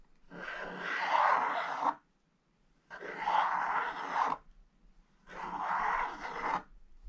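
A wooden stylus scratches the black coating in the lower corner of a scratch-art page lying in an open book, with loose flakes scattered across the page. Three separate raspy scratching passes, each about one and a half seconds long, have a dry mid-range hiss and quiet gaps between them.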